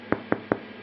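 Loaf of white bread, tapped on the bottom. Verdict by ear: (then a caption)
Hollow. A loaf of homemade white bread, just taken out of its tin after about 35 minutes at 200 °C, is tapped three times on the bottom. Each tap gives a short, dull, hollow knock centered in the low mids that dies away almost at once. The hollow sound shows the loaf is cooked through.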